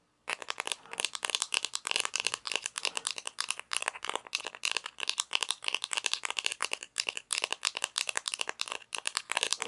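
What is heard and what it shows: A small hollow plastic toy pizza slice with painted toppings is held in both hands while long nails tap and scratch its textured top. The result is a steady stream of rapid, bright, dry clicks and scratchy rattling, with almost no low end. Each tap dies away instantly, with short pauses between bursts.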